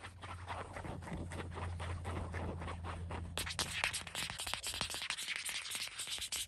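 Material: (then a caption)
Cotton. Fingertips and nails scratch and rub a flat, thin, folded peach cotton dish towel with an orange print, its yellow paper label still attached, lying on a white blanket. A dense run of soft, papery scratches sits over a steady low hum. About halfway through, the strokes turn brighter, crisper and more sharply separated.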